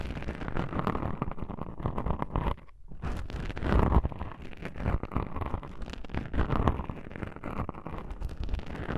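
Long pink-painted nails scratch and rub two small black foam windscreen covers on a binaural microphone, producing a dense, low, muffled rustling and scraping with a boomy rumble. A brief near-silent gap falls around 2.7 seconds, then the scratching resumes, swelling near 4 seconds.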